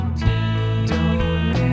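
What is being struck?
Nothing is struck.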